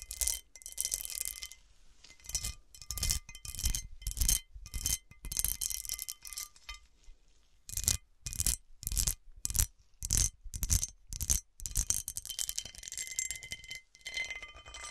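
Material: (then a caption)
Glass. Long dark nails scratch and tap the faceted surface of an overturned, hollow, round cut-glass serving dish. Short bursts of bright, gritty scratching alternate with brief pauses, and each burst carries faint, steady glassy ringing tones. The sound is quiet and close, with a low rumble underneath.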